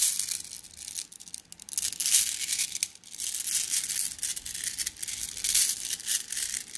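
A plastic mesh bag of flat blue glass gems is crushed and squeezed in the hand, giving a steady, bright clinking and crinkling rattle. The sound swells and eases in waves, sitting almost entirely in the high range with no low end.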